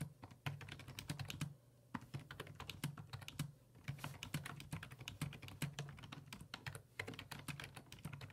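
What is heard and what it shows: Fingertips type on the hollow plastic keys of a black plastic full-size computer keyboard resting on a wooden desk. Quick, short, clicky taps come in a steady stream with a couple of brief lulls, each keystroke sharp and dry with almost no ring over a low, steady background hum.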